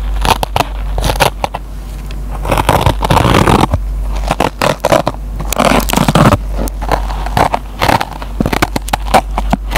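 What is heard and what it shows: The metal tip of a mechanical pencil scratches the green nylon scouring pad of a hand-sized, solid, dry yellow polyurethane foam kitchen sponge held in the fingertips. Dense, crackly scraping bursts come in quick irregular runs, some longer and rougher than others, over a steady low hum.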